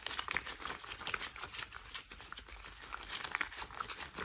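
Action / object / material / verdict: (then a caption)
scrape / thick rubber household gloves / rubber / none. Thick cream rubber household gloves are worn while the gloved hands are rubbed and crinkled together. The result is a quiet, steady crinkling and rubbing texture with bright squeaks and short sharp crackles scattered throughout.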